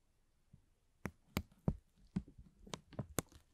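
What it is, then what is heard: Plastic film bag being crinkled. A thin, transparent, hollow and empty plastic film bag is held between the fingertips of both hands and gently pulled and crinkled. Seven short, sharp crackles stand out over quiet soft rustling, each snapping brightly and dying away almost instantly.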